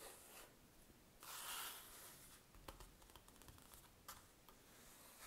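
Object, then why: Paper notepad sheet. Fingertips rub and trace over the written letters on a grid-paper notepad sheet lying on a table, making a soft, airy, papery hiss. A brighter, louder swell of rubbing comes around the middle, followed by a run of faint, crisp ticks and scratches as the fingers move across the page.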